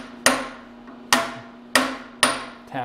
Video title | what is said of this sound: Indexable vise jaws for Kurt vise - part 1/5 | we definitely tap it all down that sounds good yeah